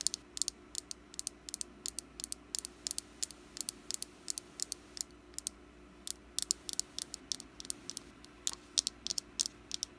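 Long black nails tap on a small, solid orange wax pumpkin candle held in the palm. About fifty quick, bright clicks come in irregular bursts and die away almost instantly over a faint low, steady hum.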